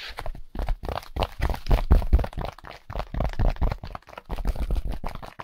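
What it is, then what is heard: Styrofoam packaging insert. A white solid styrofoam packaging insert with a hole is tapped and rubbed with gloved fingertips. The result is a fast, dense run of dull, low, squeaky-crunchy taps and scrapes with very short decay. The energy sits mostly in the low end.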